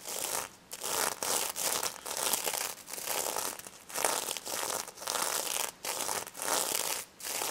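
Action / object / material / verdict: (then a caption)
scrape / plush toy covered in plastic sequins / plastic sequins / none. Long red acrylic nails scratch and rub the plastic sequin front of a small, soft, stuffed pink pig plush covered in reversible sequins on fabric. The result is a bright, crinkly rustling in repeated strokes, each separated by a brief near-silent pause.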